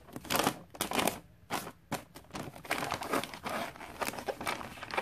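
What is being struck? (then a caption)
Glossy wrapping paper on a gift box. Fingertips with long dark nails rub and tap the flat side of a gift box wrapped in glossy red Christmas paper. The result is a run of crisp, crinkling bursts with bright, papery hiss and little low end. The bursts rise and fall unevenly throughout.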